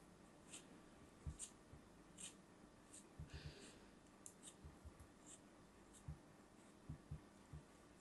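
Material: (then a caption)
Kinetic sand. A craft knife slices into a small, solid molded block of brown kinetic sand held by fingers with pink nails. Quiet, soft gritty scraping is broken by dull low thuds and brief bright crackles as the blade cuts through. The sounds stay short and dry, with almost no ring.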